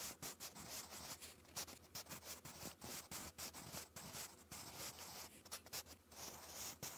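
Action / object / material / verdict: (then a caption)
scrape / graphite pencil on paper notebook page / paper / none. A wooden graphite pencil held in the fingers scratches handwriting strokes across a lined, textured paper notebook page. It makes a quiet, dry, bright scratching in a quick series of short strokes separated by brief pauses, over a faint low hum.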